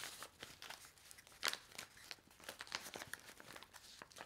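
A handheld stack of small, flat, laminated paper-foil sachets filled with dry soup powder is fanned, squeezed and flipped by fingers with long nails. The result is quiet, bright, dry crinkling and crackling in quick, short bursts, with a sharper crackle near the middle and almost no low end.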